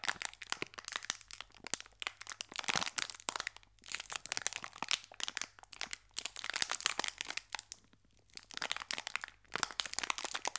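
A small, full green Gullón biscuit pack of metallized foil-plastic is held at both ends by the fingertips and crinkled and squeezed, while a second pack lies still beside it. Dense, bright, crackly crinkling comes in bursts of rapid snaps with almost no low end, broken by short quiet gaps near 4, 8 and 9.5 seconds.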